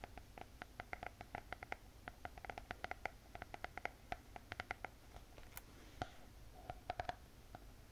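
A closed spiral notebook with a glossy hard cardboard cover is tapped and scratched with long painted fingernails. Many quick, light clicks with a hollow mid-range tone ring over a soft low rumble, with brief brighter scratches between them.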